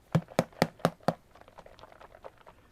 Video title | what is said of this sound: Gelli Notecards & Envelopes with Dina Wakley & Dylusions - Patti Tolley Parrish - Inky Obsessions | That really does take a lot of banging to get that broken loose.